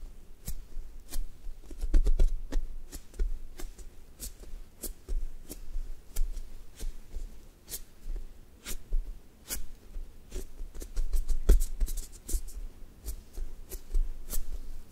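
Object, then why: Foam squishy toy with sticky coating. Fingertips with long nails press, tap and peel off the sticky coating of a large brown thick-toast squishy toy made of soft, solid foam on a white base. Brief, sharp clicks and tacky crackles repeat irregularly throughout, each dying away almost instantly over a faint low hum.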